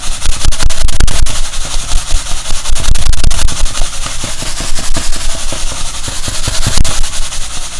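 A silver foil-covered insulating bag is held up, crumpled, shaken and scratched with the fingers. It gives a loud, continuous crinkling and crackling with bright hiss and irregular, rapid bursts of rustle over heavy low thumps throughout.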